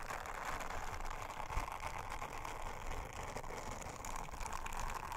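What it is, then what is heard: Silicone trivet brushed with a silicone scrubber. An orange silicone bristle scrubber is rubbed by long-nailed fingers over a round, flat, thin blue silicone honeycomb trivet. The result is a steady, dense scratchy brushing and rubbing texture, with crackly detail and a slight bump in level around the middle.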